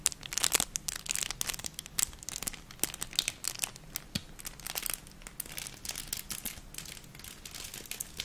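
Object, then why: Thin plastic packet. A small, thin, empty clear plastic packet with a silvery crinkled lining is held in both hands and crinkled and rubbed with long manicured nails and fingertips close to the microphone. Dense, bright crinkling and crackling comes in quick, uneven bursts with sharp little snaps, steady throughout with almost no low end.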